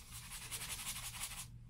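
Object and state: Nothing is struck.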